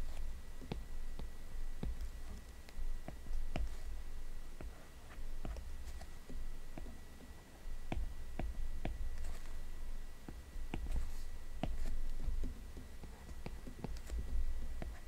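The plastic tip of an Apple Pencil, held in the fingertips, makes repeated quick taps and small strokes on the glass touchscreen of a large iPad. Sharp, short clicks come at irregular intervals over a soft scratchy texture. A steady low rumble and a faint thin tone sit underneath throughout.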